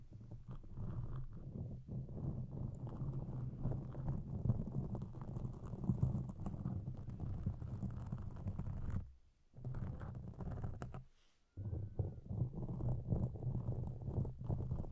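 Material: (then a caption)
Foam. Long pink acrylic nails scratch and tap a large black foam windscreen over a microphone from both sides, making a dense, muffled, low rustling with rapid soft taps. The scratching runs nearly continuously, broken by two brief silences around 9 and 11 seconds before resuming.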